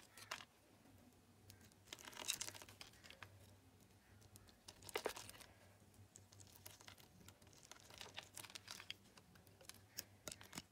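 A metal utility knife scrapes and slices across the grid-scored surface of a solid teal Lux bar soap. The result is quiet, bright, crisp scratching and crumbly crackling in irregular bursts, with louder slices around 2 s and 5 s over a faint low hum.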